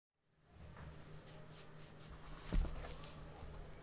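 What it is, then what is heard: Sealed plastic Blu-ray case. A flat, hollow blue plastic Blu-ray case, still sealed in cellophane, rests on a wooden board and is then lifted while fingertips poking out of fingerless gloves tap and scratch its front cover. A quiet, low, papery rustle and scratching runs throughout, with one louder, dull tap near the middle.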